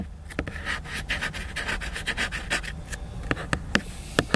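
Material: Cardboard.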